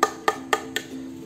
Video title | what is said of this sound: Strattos S7 2021, Review dan User Experience | Framenya ini karbon ya, benar-benar karbon, terlihat karbon dan memang kalau dipukul suaranya karbon.